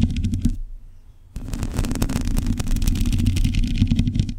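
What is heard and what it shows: Long pointed nails on both hands scratch a black metal mesh microphone grille. The result is a dense, rapid, uneven rasping with a heavy low rumble underneath and bright crackle on top. The scratching drops to a near-silent pause for just under a second, then resumes louder and continues to the end.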